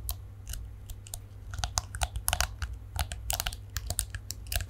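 Fingernails flick and scratch along the dense plastic bristles of a palm-sized detangling hairbrush with a shiny chrome-coloured plastic back, held in both hands in front of the microphone. Quick, bright, crunchy clicks come in irregular bursts over a steady low hum.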